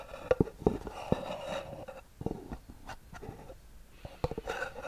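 A small, hollow white cardboard gift box with a gold band, held close to the microphone, is scratched with long nails. The result is a series of soft, dry scratches and light taps with short, muffled knocks, then a brighter rasp near the end.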